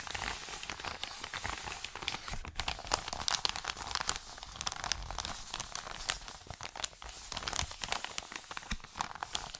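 An Amazon kraft-paper padded mailer is held in both hands and crumpled and crinkled with the fingers. It makes dense, bright crinkling and crackling with many sharp snaps, running continuously for about ten seconds with little low end.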